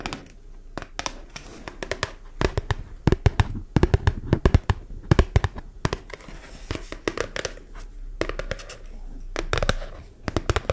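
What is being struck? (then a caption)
Thin cardboard label. A small, flat, thin yellow printed cardboard label held in one hand is tapped and scratched with long nails. Quick, sharp clicks come in irregular bursts over soft scratching and rustling, each tap dying away almost at once.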